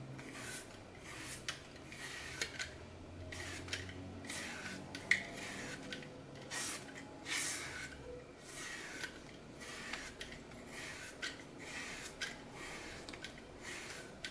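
A red-handled blade scrapes and slices thin slabs off the edge of a glitter-coated green floral foam block held in one hand, and the pieces drop into a glass bowl below. The sound is a dry, bright, crackly scraping in repeated strokes, with short crisp peaks as the blade cuts through and pieces fall.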